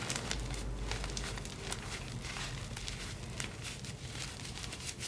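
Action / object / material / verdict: scrape / block of gym chalk (magnesium carbonate) crumbled by hand / magnesium carbonate / none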